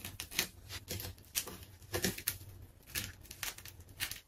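Layers of a large, solid pink ball of plastic tape resting on a tiled floor are cut with a metal craft knife and pulled away by fingers. The result is a series of bright, dry crinkling and crackling bursts with very short decay, over a faint low hum.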